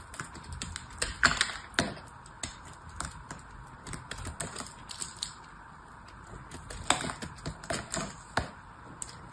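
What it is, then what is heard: Soap bar being cut and scraped. A knife slices and scrapes brittle pieces off a partly cut, blue-painted bar of soap. Dry, sharp crackles and crunchy clicks come in an irregular, rapid series, with bright, crisp snaps above a faint scraping hiss. The louder cracks cluster early and again near the end.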